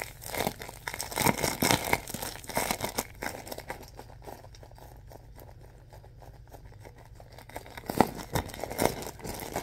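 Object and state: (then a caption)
Plastic film bag of stuffing, crinkled. A clear plastic film bag filled with white stuffing is gripped, pinched and scrunched with fingers, giving dense bursts of crinkling in the first three seconds. A quieter stretch of soft rustling follows before sharper crinkles return near the end.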